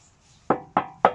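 Three taps on the steel sill of a 1977 Morris Marina 1.3 Deluxe estate give short, hollow knocks with a brief ring around 750 Hz. The hollow sound shows the sill has no filler, the sign of a good, original Marina.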